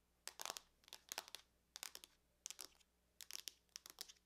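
Long nails tap and scratch across the lid of a closed silver aluminum laptop. Quiet, bright clicking and scraping comes in short clustered bursts with brief pauses between them, each tap dying away almost instantly with no low-end body.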